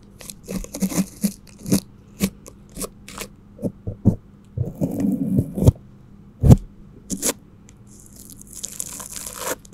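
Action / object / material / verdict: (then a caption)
scrape / plastic cling film over a microphone, brushed / plastic film / none. A flat paintbrush held in a gloved hand sweeps and rubs across the top and sides of an upright cylindrical microphone tightly wrapped in clear plastic cling film. Close, irregular crinkling, scraping and crackling bursts come with soft low thumps, and a bright, hissy brushing fills the last few seconds.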